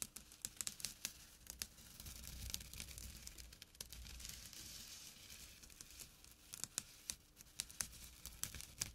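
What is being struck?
Small burlap drawstring pouch.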